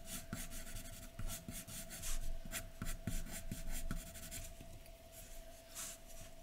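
A graphite pencil scratches across a large white sheet of drawing paper lying flat, making hatching strokes while the hair is shaded. Short, dry, bright scratching strokes repeat at an uneven pace over a low rumble and a faint steady tone.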